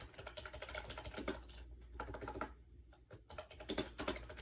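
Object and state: Plastic keyboard being typed on.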